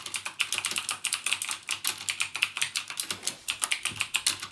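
Fingertips type continuously on a backlit mechanical keyboard with plastic keycaps and Cherry MX Blue switches, producing about 32 quick, distinct keystrokes over four and a half seconds. Each press is a sharp, bright click centred around 2.6 kHz with almost no low end, decaying almost instantly into the next in a steady, uneven rhythm.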